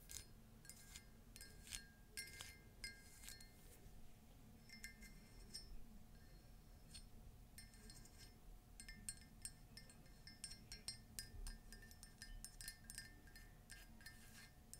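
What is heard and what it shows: A hollow, empty cream ceramic mug with an embossed surface, a trunk-shaped handle and feet, and a pink-glazed inside is tapped and scratched with long nails. Bright, glassy clinks with short high ringing come in quick irregular bursts over a faint low rumble.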